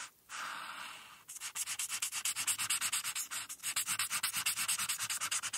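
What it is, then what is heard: Marker coloring on paper. A felt-tip marker with a white barrel, held in the fingertips, colors a thin printed paper coloring sheet lying on a solid, flat board. A steady, bright scratchy rub runs for about a second, pauses briefly, then becomes a rapid, rhythmic series of back-and-forth scribbling strokes. The sound is dry, high and hissy, with almost no low end.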